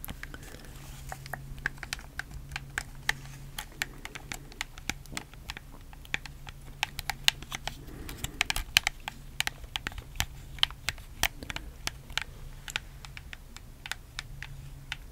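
A black, hollow plastic PS4 controller is held in both hands close to the mic while fingertips press and click its buttons and thumbsticks. Dozens of short, sharp, bright plastic clicks come in quick, irregular bursts over a faint steady low hum. Each click dies away almost instantly.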